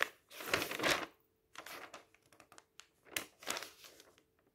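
Fingertips slowly lift and turn a thin page of an open paper magazine, giving a soft, bright paper rustle. A longer crinkling swell is followed by a run of small crackles, then a second rustling swell as the page settles, with quiet pauses between them.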